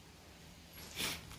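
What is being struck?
Nothing is struck.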